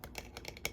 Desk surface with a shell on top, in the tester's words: I love the tapping sounds on this part of my desk right here cuz it's like Hollow